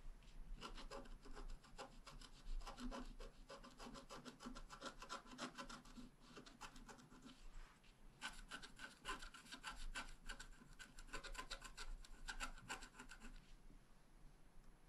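A wooden stylus scratches the coating of a flat, wax-coated scratch-art card near the bottom flowers in quick strokes, making rapid, dry scraping rasps with bright edges. The strokes come in a dense run, ease into a brief lull just before the midpoint, then resume just as quickly until near the end.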